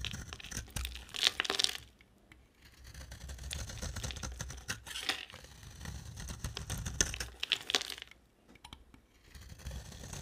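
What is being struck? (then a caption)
Bar of soap scraped with a blade. An oval, solid, dry white bar of soap is held in the hand and scraped with a box cutter blade as the shavings pile up. The result is bright, dry, crackling scrapes in bursts, with brief quiet pauses around the second and eighth seconds.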